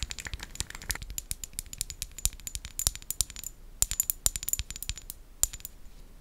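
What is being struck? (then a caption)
Small glass dropper bottle tapped with fingernails. Long nails rapidly tap a small amber glass serum bottle with a white dropper cap and a label, which appears filled. The result is a fast, irregular stream of sharp, bright clicks with very short ring and a faint high glassy tone.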